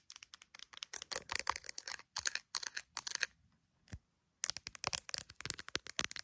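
Long nails tap and scratch a handheld iPhone in a clear plastic gummy bear case, working over the case and its edge. Quick, dry, bright clicks and scratchy bursts come in dense runs. They pause for a moment before resuming.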